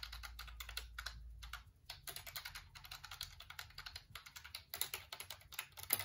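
Fingertips type and rub across the keys of a black plastic computer keyboard held up close, making a rapid run of bright, crisp clicks with short scratchy rubbing between them. A low, steady hum sits underneath for the first second and a half.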